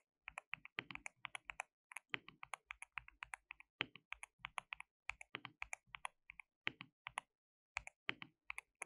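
Both hands type continuously with their fingertips on a compact, white-cased mechanical keyboard with a hollow case, white and pink plastic keycaps and RGB backlighting. Dozens of crisp, bright plastic clacks arrive in quick, uneven bursts with brief pauses, each dying out almost instantly with little low end. A hollow thock sits under some strokes.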